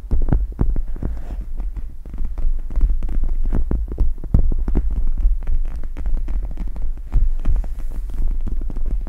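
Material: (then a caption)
Plastic gel. Long red nails scratch and tap the plastic gel-bead inserts of a pink "MEOW" eye mask draped over a microphone. The result is a dense, rapid run of soft, dull taps and scratchy rustles with thumpy low end, over a steady low hum throughout.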